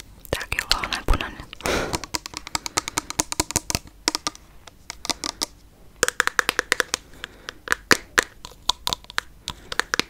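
A clear plastic cleansing mousse pump bottle with a pump cap, partly full of pink liquid, is tapped and scratched with long nails. Many quick, bright, dry clicks and taps come in dense bursts, with a brief rough scratching swell near the two-second mark and soft rustling between the taps.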